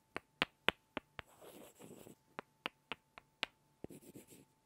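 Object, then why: Two small light-wood blocks. Two small solid light-wood blocks are tapped and rubbed together by hand, giving a series of sharp, dry clacks with almost no ring. Two stretches of softer, scratchy rubbing break up the taps.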